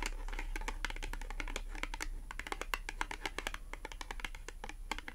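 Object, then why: Thin cardboard clothing tag. A small, thin, flat, solid cream cardboard H&M "Slim fit" clothing tag, held upright in both hands, is tapped and scratched with long acrylic nails. A rapid, uneven run of short, dry clicks and taps with light scratching between them sits over a steady low hum, each click dying away almost instantly.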